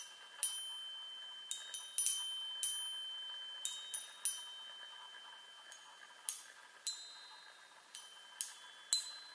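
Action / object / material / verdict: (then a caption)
tap / metal tube chime on a wooden frame / metal / none. Long nails tap the hollow metal tubes of a small handheld chime on a wooden frame, producing 13 bright, high pings at an irregular pace. Each tap rings briefly over a steady faint background hiss.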